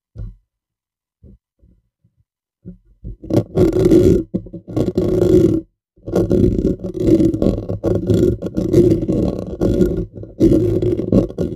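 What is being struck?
Metal mesh microphone grille.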